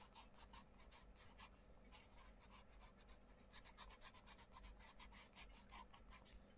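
A wooden coloured pencil scratches and rubs across the paper page of an open paperback colouring book in dense colouring strokes while the other hand presses the page flat. Quick, repeated bright, scratchy strokes come in bursts over a quiet, steady low background.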